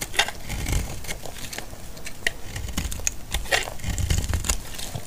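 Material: Soap.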